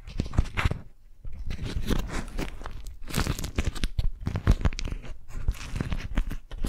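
A beeswax-coated cotton food wrap, an orange- and lemon-print waxed fabric sheet, is bunched in both hands while long nails grip and crinkle it. Dense, crackling crunches and crinkles come in close, uneven bursts, with a brief quiet pause about a second in. The sound is heavy in low thuds with short, dry crackle and almost no ring.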